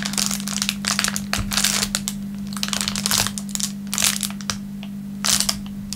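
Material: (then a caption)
Plastic film. A thin clear plastic film wrapper resting on a wooden table is crumpled, crushed and rubbed with the fingertips of both hands. Dense bursts of bright, crisp crinkling rise and fall over a steady low hum. The crackling comes in clusters with brief quieter gaps between them.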